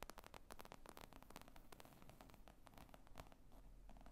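Long nails tap and scratch across the top of a padded, hollow black leather laptop bag with zippers lying on a table. The result is a quiet, steady stream of quick dry clicks and scratchy rustling over a dull low thump, with each tap dying away almost at once.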